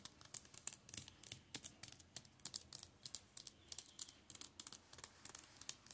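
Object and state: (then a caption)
Shrink-wrapped paperback books. Fingertips tap and scratch across the plastic-covered spines of a row of shrink-wrapped Steel Ball Run (JoJo's) manga paperbacks on a table. About thirty quick, dry, bright ticks mix with crisp crinkly scratches, all quiet with almost no low end. Each sound stops at once, with no ring.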